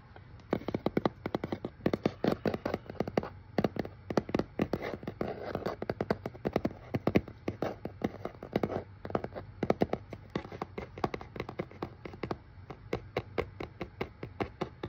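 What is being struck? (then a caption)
Corrugated cardboard box. A medium brown corrugated cardboard shipping box with a printed shipping label, hollow and held in hand, is tapped rapidly on its face and edges with fingertips and fingernails. The result is a long run of dry, quick taps and knocks with a hollow, midrange body, each dying away almost at once. The taps come in uneven bursts, some louder than others.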